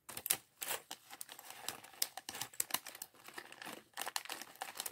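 A small clear polyethylene bag of loose plastic LEGO bricks from a Chevrolet Corvette C8.R race car set 76903 is held in both hands while fingertips pick through the bricks and crinkle the bag. Bright, dry crinkling mixes with quick, irregular clicks and ticks of bricks knocking together, with almost no low end. The sound comes in short bursts that stop abruptly, then brief pauses.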